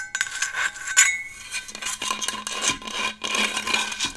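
Long acrylic nails tap and scratch a large, hollow, black powder-coated Hydro Flask stainless steel water bottle held close to the mic. Bright, quick clicks mix with dry scratchy rasps, with faint high metallic ringing that fades quickly between strokes.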